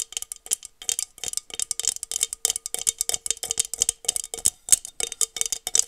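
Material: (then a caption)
Glass. Long nails rapidly tap and scratch the sides of a small, hollow, empty blue glass tumbler held close to the mic. The result is a quick, uneven stream of bright, crisp clicks with almost no ring, plus a faint glassy tone and a light rattling texture, with no low end.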